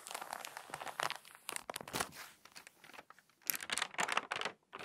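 Long nails and fingertips rub the pages of an open glossy paper magazine flat and crease them, then a page is turned. Bright, dry crinkling and scratchy rustles come in dense bursts with short quiet gaps, almost no low end and no ring.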